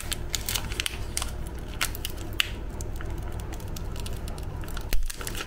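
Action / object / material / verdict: scrape / metallized plastic cookie packet / plastic / none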